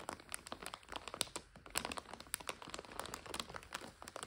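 A full plastic bag of dry egg noodles is turned and folded by both hands. The plastic gives off a steady run of quiet, sharp, bright crinkles and crackles with little low end, and brief snaps stand out above the rustling.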